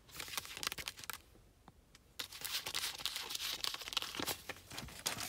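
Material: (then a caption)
Paper. Fingertips with long painted nails handle a single thin, flexible US ten-dollar paper banknote in a car, holding it up by the window and then laying it flat on a lap. Bright, papery crinkles and scratchy nail strokes across its surface come in dense bursts, broken by a brief near-silent pause before the crinkling resumes.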